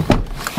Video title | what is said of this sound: Audi A3 1.8 turbo - najlepszy kompakt lat 90-tych (test PL) - AutoMarian #10 | Ten dźwięk zamykania drzwi, jak zamknę je, to jakbym przenosił się w zupełnie inny świat, jakbym usiadł naprawdę w wysokiej klasy limuzynie.